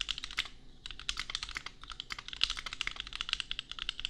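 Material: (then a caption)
Plastic. Both hands type with their fingertips on a custom compact 65% mechanical keyboard with Gateron Milky Yellow switches and red and pink plastic keycaps, resting on an anime desk mat. A rapid, uneven stream of short, bright plastic clacks plays, with very little low end and almost no ring after each press. There is a brief lull around half a second in.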